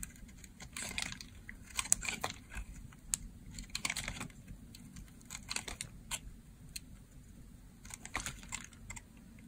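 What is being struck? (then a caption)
Bar of soap. A solid white, hand-sized oval bar of dry soap, held in one hand, is cut and scraped along its edge with a box-cutter blade. The result is a series of short, crisp, crunchy carving sounds, bright and dry with almost no ring, over a faint low hum.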